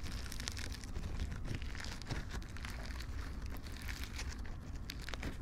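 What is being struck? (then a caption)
Slime with polystyrene foam beads. A soft lump of floam slime covered in small colorful polystyrene foam beads is kneaded and pinched with fingertips and thumbs in front of the microphones. A steady, dense stream of crunchy popping and crinkling crackles runs throughout over a low, constant rumble, with bright, quick snaps scattered across the clip.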